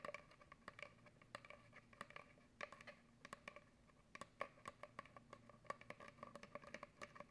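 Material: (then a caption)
Cardboard. An empty, hollow brown cardboard paper towel tube about 25 cm long is held up by hand and scratched and tapped with long acrylic nails near an untouched microphone. The result is a quiet, steady run of quick, dry taps and scratchy patters with a hollow, resonant ring centered around 1.1 kHz, plus bright clicks. Each hit dies away almost instantly.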